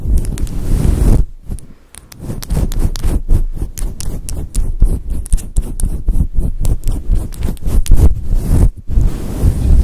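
Fingertips and long nails rub and scratch the top and sides of a fluffy grey-white synthetic faux fur microphone windscreen. The result is a steady stream of deep, muffled, bass-heavy scratching and rubbing with a rapid, uneven rhythm. It briefly drops quieter early on before resuming.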